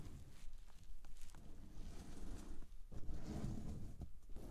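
A soft pillow covered in reversible pink and white sequin fabric is rubbed by a hand, then long painted nails rest on and scratch its top. The result is a low, muffled brushing and rustling with soft scratchy flicks and a few brief bright sparkles as the sequins flip.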